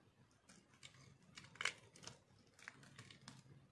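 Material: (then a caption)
Soap. A solid, dry pink bar of soap held in the hand is carved and scraped with a metal blade, flakes falling away. About ten short, crisp, bright scraping crunches sound quietly, each dying away almost at once, with the loudest near the middle.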